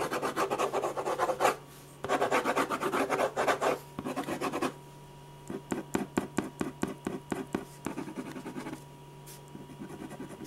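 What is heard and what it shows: A metal ballpoint pen rubs rasping shading strokes across a large sheet of white drawing paper resting flat and solid on a firm board. Dense bursts of fast scratching give way to separate, sharper back-and-forth strokes, then fade into softer, lighter scratches.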